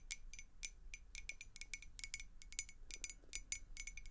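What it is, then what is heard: Glass beer mug. A clear glass beer mug with a handle and blue logo, partly filled with water, is tapped rapidly with long acrylic nails. It gives a quick series of short, bright, high clinks, each with a steady tone near 2 kHz, and every tap dies away almost at once over a low background hum.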